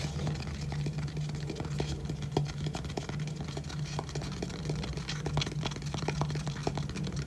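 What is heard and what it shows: Fingertips and nails tap and scratch quickly on the lid of a small, hollow, pale-grey rigid cardboard gift box with gold lettering, held close. The result is a dense run of short, dry clicks and scrapes over a steady low hum.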